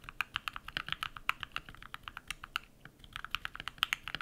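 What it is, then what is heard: Mechanical keyboard with PBT plastic keycaps. A compact modded mechanical keyboard with white PBT plastic keycaps and lubed switches is typed on rapidly with bare fingertips. Around 28 short, crisp, bright keystrokes click and clack in an uneven stream, with a brief pause near the middle.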